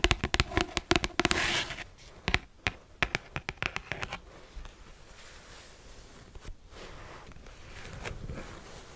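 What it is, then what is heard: Hardcover cardboard planner. Long acrylic nails tap and scratch the cover of a pink marble-print hardcover cardboard daily planner, about A5 size, held upright in both hands. Irregular runs of sharp, dry clicks fill the first few seconds, then give way to a softer, steady scratching hiss with the occasional tap.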